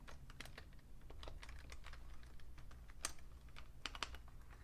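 Fingertips with painted nails type on a vintage beige Fujitsu Siemens full-size plastic keyboard with a hollow case. Quick, dry clicking taps come in an uneven run, with a few sharper, brighter clacks standing out over a steady low hum.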